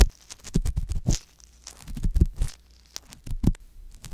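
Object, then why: Silicone ear of a binaural microphone, scraped with a metal-tipped ear pick. A metal-tipped wooden ear pick scrapes inside the ear canal of a soft silicone ear on a white box binaural microphone. The result is close, muffled scraping and thudding in irregular bursts, deep and boomy with faint bright crackles on top.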